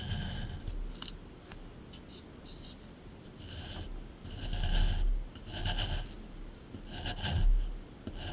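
A small flat metal scraper chisels and scrapes the hard surface of a rectangular solid plaster block from a dinosaur dig kit, set in a grey plastic tray. Quiet gritty ticks and scratches build into longer, louder rasping scrape strokes over a low dull rumble, each stroke swelling and then fading away.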